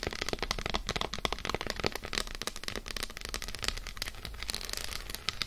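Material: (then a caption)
Chocolate. Long nails rapidly tap and scratch an unwrapped solid Lindt dark chocolate bar resting on a fur rug, first on its embossed side, then on its flat side. The result is a dense stream of dry, crisp clicks and brief scratches with bright tops that die out almost instantly, over a faint low hum.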